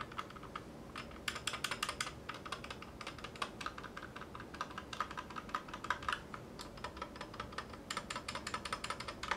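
A 60% Clueboard mechanical keyboard in a metal case, with Zealios V2 62g switches and GMK ABS plastic keycaps, rests on a cutting mat while individual keys are pressed with one hand's fingertips. Steady, uneven typing produces short, crisp clacks centered around 1 kHz with bright upper edges, each dying away almost instantly over a faint low background.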